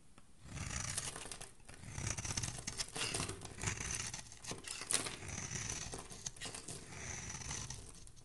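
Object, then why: Bar of soap. A metal utility blade shaves a solid pale yellow soap bar held in the hand, cutting it into flakes. The result is a steady run of crisp, dry scraping and crackling strokes, bright and papery on top with a soft low rumble underneath.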